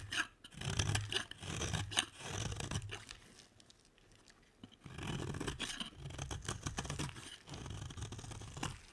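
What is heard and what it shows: A utility knife blade scrapes curls off the edge of a solid, dry orange bar soap. The result is a series of crisp, dry scraping and crunching strokes with a bright, papery edge and a soft low thump under each cut. The strokes come in two bursts separated by a quieter pause.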